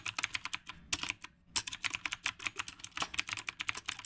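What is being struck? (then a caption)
Mechanical keyboard with round plastic keycaps. Fingertips type continuously on a retro typewriter-style mechanical keyboard with round plastic keycaps. Rapid, sharp, bright clicks follow one another with very short decay and almost no low end. There is a brief pause near the middle before the typing resumes.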